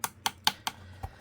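A SmallRig camera matte box body made of thin aluminum is tapped to check its build quality, giving four short, dry, bright clicks and a fainter fifth knock. The taps die out almost instantly, sounding more like plastic than metal even though the body is thin aluminum.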